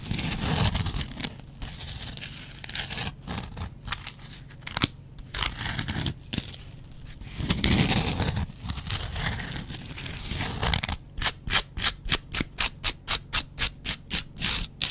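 A double-edge razor blade scratches a yellow foam kitchen sponge with a dark scouring layer, making dry, raspy, broadband scraping with crisp high crackle. The scratching is uneven and continuous for the first eleven seconds, then becomes a fast, steady run of short, separate strokes.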